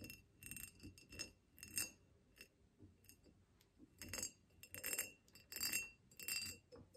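Long fingernails on both hands tap a tall, hollow, ribbed clear glass vase standing on a table. The result is a quiet, irregular series of bright clinks and chinks with a tone near 2.7 kHz, each dying away almost at once with little low end.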